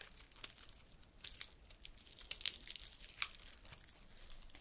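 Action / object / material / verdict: scrape / pine cone / woody scales / none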